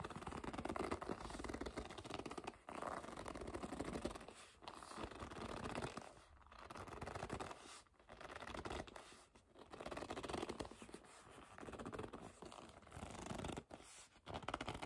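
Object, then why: Leather bag. Long nails scratch and grip a hollow black leather bag while fingers pinch the leather, producing squeaky, scratchy rubbing in continuous bursts separated by brief pauses. The sound is quiet and close, with a dry texture that carries little low end.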